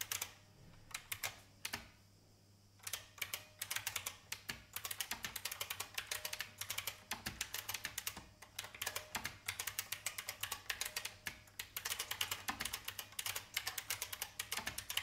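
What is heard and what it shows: Long painted fingernails type on an old, full-size, beige IBM plastic mechanical keyboard with a hollow case. The clip carries a steady run of bright, clacky keystrokes with very short decay. After brief pauses near the start, the typing continues unbroken to the end.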